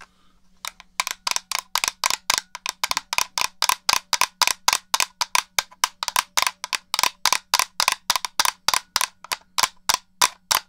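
Long nails scratch and tap the shell and buttons of a black, hollow plastic original Xbox controller. About 42 short, dry clicks with bright, crisp edges come in a loose, uneven rhythm, centered around 1 kHz, over a faint low steady hum.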